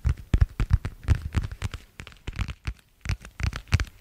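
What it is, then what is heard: Thin vinyl plastic cover. A thin, flexible, pale blue translucent vinyl plastic cover is tapped and scratched with fingertips and long nails. The result is a quick run of soft, dull taps with light crackly scratching, spread across the clip with short pauses in between.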